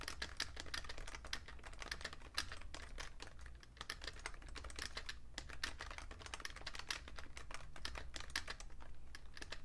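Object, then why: Plastic computer keyboard. Fingertips type fast on a vintage beige Fujitsu Siemens full-size plastic keyboard with a hollow case, producing a dense run of quick, bright plastic key clicks. The clicks are short and closely spaced, centered around 1.7 kHz, over a steady low hum.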